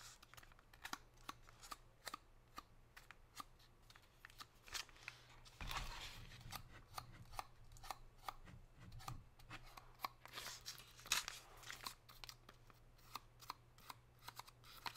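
Long pink nails tap and scratch the foil of a gold foil-wrapped chocolate bar held upright. About 32 sharp, bright clicks are heard, with denser crinkling scratch bursts around 6 and 10 to 11 seconds over a faint, steady low hum.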